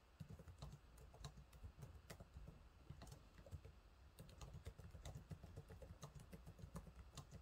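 Fingertips type on the low-profile plastic keys of a silver laptop keyboard, making a quick run of short, dry, bright clicks over a steady low rumble. The taps come in uneven bursts throughout, with 19 distinct keystrokes standing out.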